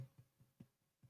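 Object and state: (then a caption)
Bread roll, hollow and cooked through. Five soft, low, hollow thuds come from tapping the underside of a crunchy-crusted bread roll baked in an air-circulating oven. Each tap is short and dull with little ring. The hollow sound shows the roll is cooked through and done perfectly.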